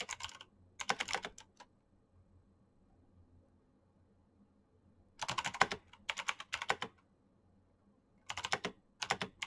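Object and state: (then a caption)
Plastic mechanical keyboard. Fingertips with painted nails type fast on a black, backlit Razer BlackWidow mechanical keyboard with plastic keycaps and green clicky switches. Three bursts of rapid, bright, crisp clicks stop dead almost instantly, separated by quiet pauses with only a faint low hum underneath.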